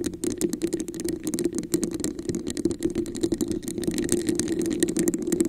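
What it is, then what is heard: Textured plastic cup tapped and scratched. Long nails rapidly tap and scratch the sides and top of a red, hollow, textured plastic cup placed over a microphone. The result is a dense, continuous stream of bright clicks and scratchy rasps over a hollow, resonant tone around 350 Hz.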